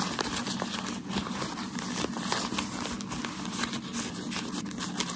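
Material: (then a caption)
Paper. Folded, crumpled white shoe packaging paper is held in the hands and scratched and rubbed with fingertips and short nails. It makes a steady, dense crinkling and crackling with a bright, hissy texture and small sharp ticks scattered throughout.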